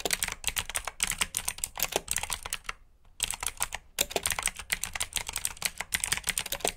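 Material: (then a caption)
Plastic. Fingertips type quickly on a black backlit mechanical keyboard with plastic keycaps, producing rapid, bright, clicky keystrokes with almost no ring. The typing runs in steady bursts, pausing briefly near the middle before resuming at the same brisk pace.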